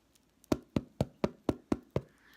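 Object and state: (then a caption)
Hollow-sounding baked bread loaf (done). A still-hot, freshly baked no-knead bread loaf is lifted and knocked on its bottom crust seven times at a steady pace. Each knock is a short, dull, low-mid thump that dies away almost instantly. The loaf sounds hollow, the test used instead of a probe thermometer, showing that the bread is done.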